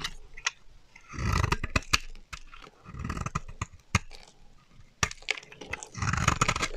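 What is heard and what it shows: A solid beige rectangular bar of dry soap, held in the hand, is scraped and carved with a black-handled blade, shaving off pale powdery curls. Rough, crackling scraping passes come in bursts with a low rumbly body, broken by sharp, bright clicks and snaps as the blade bites and breaks through the soap.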